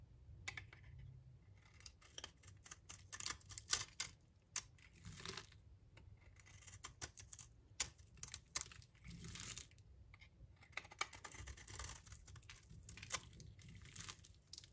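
A blade shaves brittle flakes off the face of a solid, dry, rectangular olive-brown bar of soap held in the palm. Many quick, dry, crisp scrapes and crunches with bright, high-pitched detail come in bursts over a low background hum.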